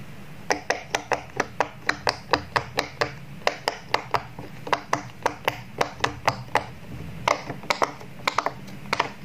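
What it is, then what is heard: Silicone pop-it toy being popped. Fingertips push the hollow bubbles of a square rainbow silicone pop-it toy through after it is flipped over, popping them one after another. Around thirty short, dry, clicky pops with a bright edge come in a steady, quick rhythm, each dying away almost instantly, over a faint low background hum.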